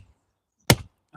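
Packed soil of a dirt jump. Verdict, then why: Soft. A single dull thud rings out as the packed dirt of a mountain bike jump's take-off is struck to judge its moisture and hardness. There is no sharp slap, showing soft, under-compacted soil with too much compost in it.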